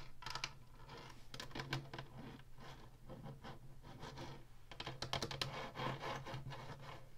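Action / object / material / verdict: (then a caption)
scrape / plastic game console housing / plastic / none. Fingertips and nails rub and scratch across the ribbed black plastic top of an Atari Flashback 2 console with a hollow plastic housing. Quick, irregular bursts of bright, dry scratching come in clusters over a steady low hum near 120 Hz, with short, unringing strokes.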